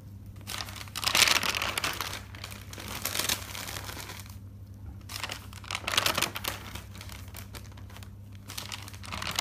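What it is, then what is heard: Thick paper notebook. Fingers grab and turn the pages of a thick paper notebook, a bound stack of white pages resting on a wooden table. Bright, crinkly paper rustling comes in several louder bursts between quieter, softer shuffling. A steady low hum runs underneath throughout.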